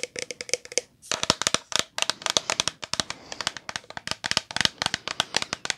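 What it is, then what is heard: Plastic shampoo bottle, full. Long polished nails tap rapidly on a medium-size, hollow and full, green translucent plastic OGX shampoo bottle with a gold cap. About 38 sharp, bright clicks come in quick bursts with brief pauses, each dying away almost instantly with a faint hollow tone.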